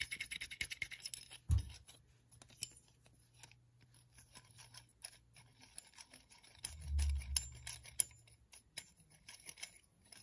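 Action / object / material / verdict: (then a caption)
scrape / small clamp with a threaded steel screw / steel / none. Fingertips tap and scratch the long threaded steel screw of a small metal screw clamp with black parts, held in the hands, and turn the screw. Quiet, dense, bright clicking and scratching runs throughout, with short crisp ticks that stop dead. Dull low thumps from handling rise near the start and again past the middle.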